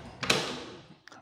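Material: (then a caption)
Wood. Knuckles knock on a hollow-core interior wooden door in a psychology office being assessed for soundproofing, producing bright, hollow raps that fade quickly, followed by a fainter tap. The door is judged to have very low sound insulation due to its low thickness and density, and needs to be thickened or replaced with an acoustic or solid door.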